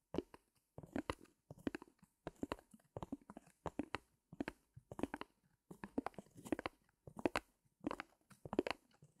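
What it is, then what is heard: Stretched canvas back, scratched. Fingertips of both hands rub and scratch the taut fabric on the back of a small stretched canvas in a wooden frame. Quiet, dry, crunchy scratching comes in short, regular bursts with brief silent gaps between them. Each stroke stops dead, with no ring after it.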